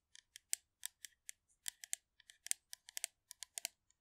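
Long manicured nails rapidly tap and scratch the surface of a hollow blue metal aerosol shaving foam can held upright close by. About nineteen quick, sharp, bright clicks sound in an uneven rhythm, each dying away almost instantly with almost no low end.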